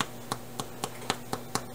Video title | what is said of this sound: #50 Homemade Basic Bread | when you thump it it's got a hollow sound